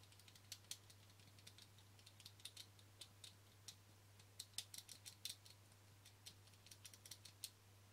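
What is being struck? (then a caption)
Plastic camera lens cap. Fingertips and short nails tap and scratch the front face of a small, flat, thin black plastic Canon lens cap. About 34 quiet, sharp, bright clicks and scratchy ticks come in irregular bursts, each dying away almost instantly. A steady low hum runs underneath throughout.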